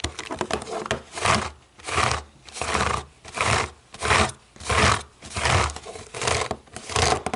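Long nails tap and scratch across the white buttons of a black plastic TV remote. A quick run of dry, clicky taps gives way to a steady rhythm of rasping scratch strokes, each swelling and fading with short pauses between. The sound is bright and close, with little low end.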